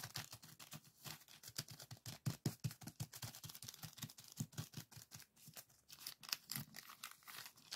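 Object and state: Plastic zip bag of sand.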